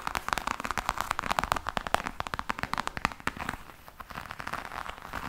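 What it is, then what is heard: Faux leather hard case tapped and scratched with nails. Long nails scratch and tap on a black croc-textured faux leather hard case with a metal clasp. A rapid series of short, dry clicks and crackly taps with a bright edge dies away almost instantly, easing into softer scratching near the end.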